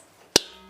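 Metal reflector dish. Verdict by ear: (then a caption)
Damped. A Magnum metal photography reflector dish is knocked once while not being held by its rubber part. It gives a single short, dull tap with bright upper content and a low tone near 400 Hz. The dish is damped and barely rings, so no gong-like ring is heard.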